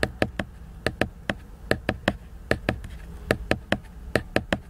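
Fingernails tap and scratch the glossy cover of a large, solid, flat laminated cardboard hardcover book. Eighteen short, dry clicks land in quick clusters of two or three, with a faint scratchy rustle between them. Each tap dies away almost instantly.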